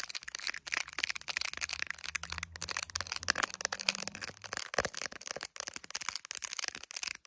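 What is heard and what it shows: Long acrylic nails rapidly tap and scratch the back of an iPhone in a clear plastic case filled with resin gummy bears, held up to a mirror. The result is a dense stream of sharp, bright plastic clicks and scrapes with almost no ring, over a faint low hum.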